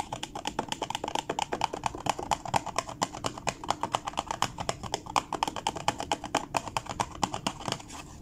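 Fingertips and nails rub, scratch and tap the lid of a small, dark blue, DoubleTree-branded cardboard gift box, closed and hollow, lying on a wooden table. The result is a quick, irregular stream of dry, clicky taps, each with a hollow knock around 850 Hz. The taps are spread over a soft scratchy rustle and die away almost instantly.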